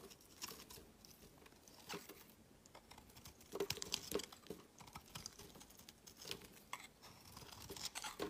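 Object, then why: Bar of soap. A solid rectangular bar of cream-white soap is held in the hand and shaved with a metal utility knife blade, with curls and shavings dropping onto a woven mat. Quiet, dry, crackly scrapes and soft crinkling carving sounds with a bright, crisp edge repeat throughout, with a few sharper, louder cuts in the middle.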